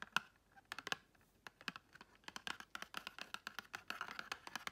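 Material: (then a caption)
Cardboard. Long red chrome nails tap and scratch the faces of a small pink and gold patterned, paper-covered cardboard gift box. Quick, dry, bright clicks land in uneven bursts, each dying almost at once, with light scratchy rustles between them.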